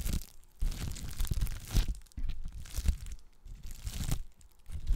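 A clear plastic bubble wrap sheet is held in both hands and scratched, crinkled and popped with long black nails. Dense bursts of crackling crinkles and sharp little pops, with a low, thumpy handling rumble, come in several waves separated by brief quieter pauses.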